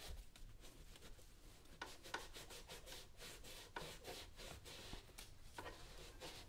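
A yellow cloth rubs back and forth over the lower part and toe of a brown leather work boot being worn on a foot. The result is a soft, steady, breathy rubbing with brighter swishes on each stroke.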